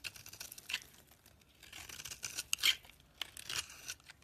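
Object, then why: Bar of soap. A hand-held, hand-sized solid oval bar of soap, orange inside with a teal coating, is scraped and carved with a metal utility-knife blade, shaving off crumbly flakes. Quiet, dry, bright scratching and crackling comes in a series of short bursts, with a few sharper cuts standing out. There is almost no low end and no ringing after each stroke.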